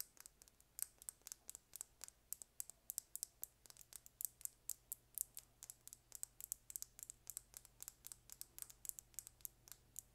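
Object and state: Plastic lip gloss tube.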